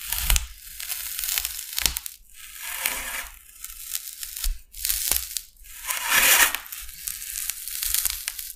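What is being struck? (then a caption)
Expanded polystyrene foam sheet. A large, flat, solid white expanded polystyrene foam sheet is scraped and scored with the metal blade of a hand-held utility knife. It produces repeated bursts of gritty, crunchy, squeaky scraping, heavy in high frequencies, with sharp cracks and snaps between strokes.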